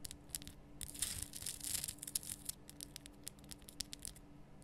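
Long nails scratch and tap on the top and sides of a large, lit pink Himalayan salt lamp, a solid rough rock-salt crystal. Quiet, bright, gritty scraping is broken by many sharp, dry clicks that stop almost instantly, over a faint steady low hum.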